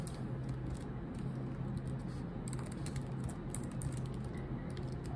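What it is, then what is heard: Laptop keyboard with plastic keys. Long nails type on a laptop keyboard with black plastic keycaps, making a steady run of quick, bright clicks over a low, constant hum. The hands lift off the keys at the end.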